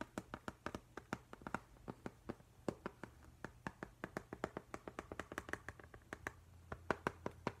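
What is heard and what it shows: Fingertips and nails tap repeatedly on the flat glass pane of an upright framed octopus print with a silver frame. Around forty quick, dry, clicky taps come in an uneven rhythm, each with a bright edge that stops almost at once, over a faint low hum.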